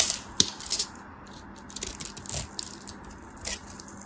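A metal blade scrapes and cuts small chips from a partly carved solid green soap bar held in the hand. Crisp, bright scratching and crackling come in short bursts, with the sharpest snap near the start and quiet pauses between cuts.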